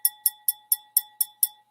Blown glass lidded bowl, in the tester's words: it's got crystal. Hear that? ... Hear the crystal.